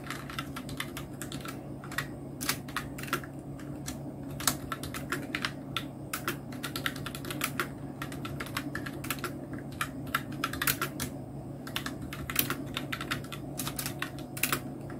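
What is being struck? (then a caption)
Plastic mechanical keyboard. Both hands' fingertips type on a full-size black Nubwo Illusion NK-70 mechanical keyboard with Outemu red switches, round plastic typewriter-style keycaps and blue backlight. Quick, bright plastic clacks follow one another in a steady, uneven stream, each dying almost at once over a low, constant hum.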